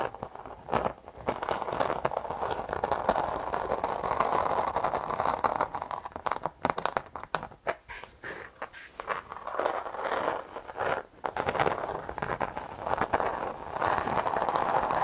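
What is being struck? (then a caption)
Carpet car floor mat. A black textured carpet car floor mat with a bound edge, held upright close to the microphone, is scratched and tapped with very long acrylic nails. The result is a steady, dense crunchy scratching texture, centered in the midrange. It is broken by brief sharp taps and short quiet gaps.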